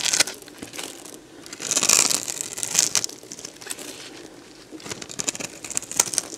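A box-cutter blade carves and scrapes crunchy flakes off a solid, dried beige bar of soap held in the hand. Bright, crisp crunching and scraping comes in bursts of sharp crackles, with loud strokes near the start, middle and end and quieter scraping in between.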